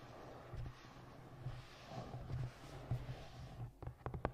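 Long nails tap and scratch the cover of a navy hardcover book with a moth and moon design, held on a microphone. Soft, muffled, low scratching builds through the clip, and a quick run of sharper, dry taps comes near the end.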